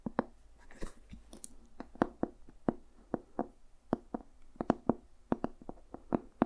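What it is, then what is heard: Leather-bound journal. Fingertips and nails tap and scratch the cover of a solid, dark red leather-bound journal with a brass owl emblem. About twenty-two short, dry, muted taps land in an uneven rhythm, with faint scratching between them. Each tap dies away almost instantly.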